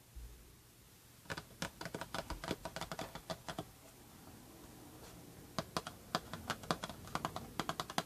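Long red-painted nails tap and scratch a closed, rectangular, embossed Prada paperboard perfume box, first while it lies down and then while it is held. Two bursts of quick, irregular, dry clicking taps are separated by a quieter stretch of soft scratching. Each tap is short and bright, with almost no ring.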